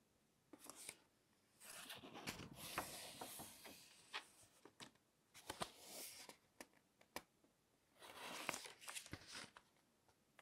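A fingertip runs along the page edge of an open glossy paper magazine on a table and flips the page over, rubbing the glossy sheets together. Soft, bright rustling swishes come in separate bursts, broken up by short, crisp paper snaps and ticks, with quiet pauses between them.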